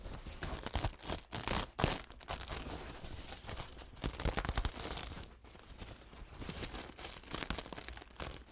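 A thin, soft, crumpled paper towel covered in dried paint is held in both hands while the fingertips unfold it, crinkle it and rub the paper. The result is a steady run of dry, bright crackling and rustling with a low underlying rumble, swelling and easing as the paper is worked.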